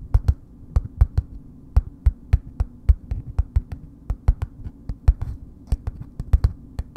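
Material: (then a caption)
Soap, paper. Long nails slowly tap on a solid bar of soap in a red paper wrapper, producing around thirty short, dull, papery taps in an uneven rhythm. Each tap is a quick, dry click that dies away almost at once, weighted toward low thuddy tones over a faint steady low hum.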